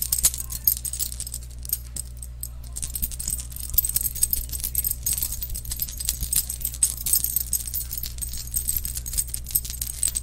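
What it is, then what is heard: Metal chain necklace jingling. A silver-colored metal chain necklace dangles from fingertips in front of a microphone and is shaken, its links jingling against each other in a continuous bright, high-pitched metallic rattle. Dense clusters of tiny clinks run throughout, over a steady low hum.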